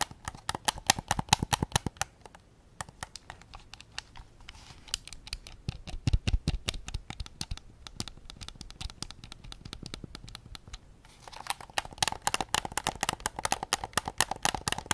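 Fingertips tap rapidly on the rear shell and grips of a white PS5 controller made of hollow plastic, producing dozens of short, dry clicks with a hollow tone around 850 Hz and bright edges. The tapping runs in fast bursts, eases to softer, scratchier touches in the middle, then returns to quick, louder taps at the end.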